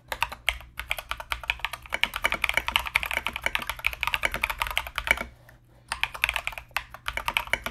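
Both hands type continuously with their fingertips on a compact mechanical keyboard with Mozano EVE switches and plastic Knight King SA keycaps, producing a rapid run of bright, sharp clacks with almost no ring. The typing pauses briefly for about half a second near the 5-second mark, then resumes at the same quick pace.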